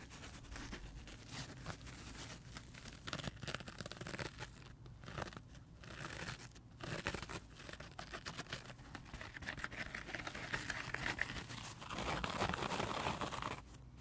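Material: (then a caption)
Foam. Fingertips scratch and rub the surface of a dry, multicolor rainbow heart-shaped foam sponge resting on carpet. The result is a dense, fast stream of crinkly, crunchy scratching with soft low thuds underneath. It swells into a louder, brighter rubbing passage near the end before dropping off.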